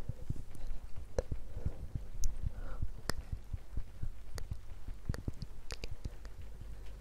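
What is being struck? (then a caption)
Cork coaster. A round, flat, palm-sized solid cork coaster, held in hand beside a binaural microphone, is tapped and scratched with long painted fingernails. It gives soft, dull, low taps with short scratchy strokes and very little ring, over steady rain in the background.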